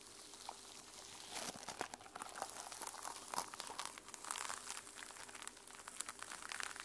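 Long nails scratch and flick the teal plastic sequins on a sequin-covered journal's notebook cover. The result is a quiet, dense run of bright, crisp clicks and crinkly rustling that swells and eases over the clip, with almost no low end.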